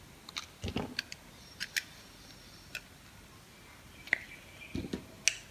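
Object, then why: Bar of soap cut with a blade. A metal box-cutter blade carves a solid, dry pink bar of soap held in the hand, and the cut slices fall away. The result is a series of short, bright, crisp scraping clicks at irregular intervals, with a few softer, duller thuds between them against a quiet background.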